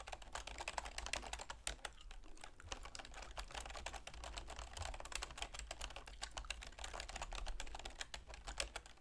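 Long manicured fingernails and fingertips rapidly tap the keys of a full-size black plastic keyboard with a silver plastic frame on a wooden desk. A dense, continuous stream of short, bright clicks and clacks plays over a steady low hum.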